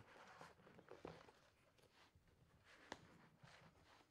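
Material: Paper.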